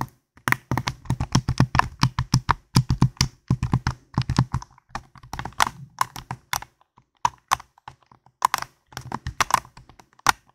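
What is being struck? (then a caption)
Plastic game controller. A hand-sized, hollow white and black plastic gamepad is held in both hands near a foam microphone while fingertips and nails tap and click its buttons and shell. The result is a quick, irregular run of short, dry clicks and taps, each with a soft low thump and a bright tick. The clicks come in dense bursts broken by brief pauses.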